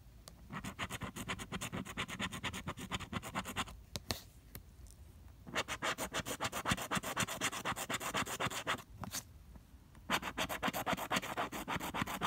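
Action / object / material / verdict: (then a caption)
scrape / paper scratch-off lottery ticket with plastic scraper / coated cardstock / none. A pink plastic scraper scrapes the coating off a flat, coated cardstock scratch-off lottery ticket, number 044, held at the fingertips. It makes rapid, gritty scratching strokes at about four per second, in three bursts separated by brief quieter pauses.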